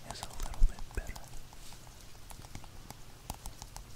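Fingertips tap and scratch the front and sides of a small, hollow, black printed cardboard retail box for earphones held in both hands. The result is a quiet, steady patter of soft, dull, low thuds, with a few stronger knocks near the start. Faint bright scratchy ticks run through it, and each tap dies away almost instantly.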